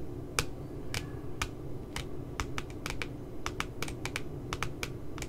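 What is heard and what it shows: Long glitter nails tap rapidly on the laminated, glossy cardboard cover of a cute puppy notebook, making short, crisp, bright clicks that come irregularly, some singly and some in quick clusters. A steady low rumble sits underneath the taps.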